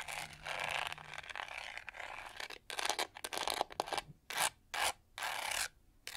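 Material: Plastic.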